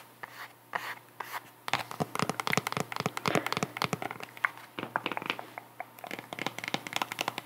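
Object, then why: Cork wedge sandal heel. Long nails tap and scratch along the solid cork wedge heel of a white sandal held in the hands. A few sparse, dry taps come first, then a dense run of quick, bright clicks and scratchy strokes that die away at once. The run pauses briefly near the middle before the tapping picks up again.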